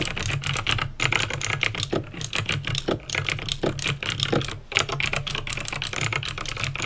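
Fingertips with painted nails type steadily on a backlit plastic mechanical keyboard with clicky green switches. The result is a fast, continuous stream of sharp, bright clicks that die away almost instantly, over a faint steady low hum.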